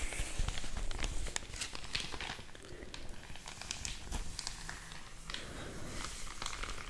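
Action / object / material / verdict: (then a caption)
scrape / thin paper mailer bag / paper / none. A large, thin, empty white paper mailer bag is scratched and rubbed across its creased surface by long orange nails and crinkled. The result is a steady, irregular stream of soft crinkling and scratchy crackles with bright high-end rustle and a low rumble underneath.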